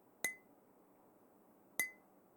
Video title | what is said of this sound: De qual material é feito? - Rioeduca na TV – 2º Ano | já perceberam que o som é bem diferente do copo de plástico e do copo de metal